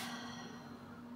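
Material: Nothing is struck.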